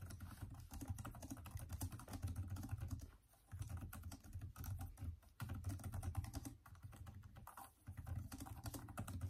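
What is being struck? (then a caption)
Plastic laptop keyboard. Both hands type continuously with their fingertips on a detachable Microsoft Surface tablet keyboard with plastic keys and green backlighting. The result is a dense stream of soft, muffled key taps weighted toward the low end, with short pauses before the typing resumes.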